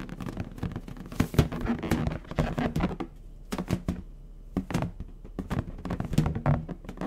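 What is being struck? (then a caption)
Inflated latex balloon. Fingertips and short nails scratch and pat the surface of a medium orange latex balloon, inflated with air and hollow. Soft, low, hollow thumps from the pats mix with dry scratching and rubbing across the taut skin. The taps are quick and dull, with almost no ring.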